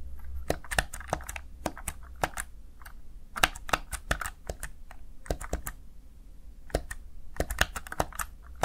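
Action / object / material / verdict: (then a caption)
tap / plastic gaming keypad keys / plastic / none. Fingertips with short nails press and tap the backlit keys of a small plastic Razer Tartarus Chroma gaming keypad, making quick, sharp, bright clicks in irregular bursts. Each click dies away almost instantly over a steady low hum.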